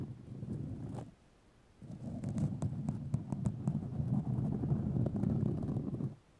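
White fiberglass grid mesh tape wrapped around a microphone is scratched with long nails, producing a dense, low rumbling scratch with a faint bright crackle. A short burst of scratching gives way to a brief near-silent pause, then a longer, steady stretch of scratching that stops abruptly.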